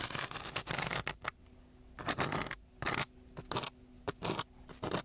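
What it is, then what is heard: Sandpaper sheet being scratched. A striped wooden stick in a gloved hand scratches and scrapes across a coarse brown sandpaper sheet. Bursts of rough, gritty, broadband scratching, bright at the top, alternate with short quiet gaps where a faint low hum remains.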